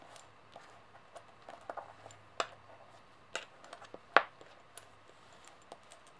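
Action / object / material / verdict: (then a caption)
tap / metal coins / metal / none. Long nails tap solid metal coins resting on a white table, then one coin is picked up and tapped against the others. Soft, scattered ticks and clicks sound throughout, with a few sharper, brighter metallic clinks that die away almost instantly over a faint low hum.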